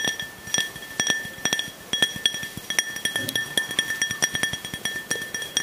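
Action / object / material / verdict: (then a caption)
tap / small glass drinking tumbler / glass / none. A small, clear, hollow glass drinking tumbler, nearly empty with a little liquid at the bottom, is held up and tapped with fingertips and nails. It gives a rapid, uneven series of short, bright clinks with a steady glassy ring around 1.8 and 3.3 kHz. Each tap fades quickly.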